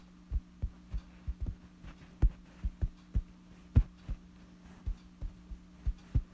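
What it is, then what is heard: Fabric bedsheet being tapped. Fingertips and a thumb scratch and tap a wrinkled, light fabric bedsheet. The result is a series of soft, dull, low thumps at an uneven pace, each dying away almost at once, over a steady low hum.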